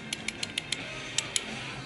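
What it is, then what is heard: Loose control arm bushing. A loose front-left forward control arm bushing, rubber with a metal sleeve whose inner sleeve has worked loose, is shaken and gives seven short, sharp, high-pitched clicks over a steady low hiss. This looseness is the likely source of the car's suspension noise.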